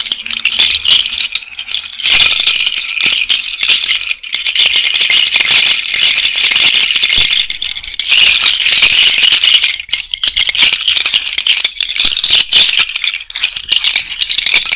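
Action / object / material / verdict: shake / cowrie shell and bead bracelet / shell / none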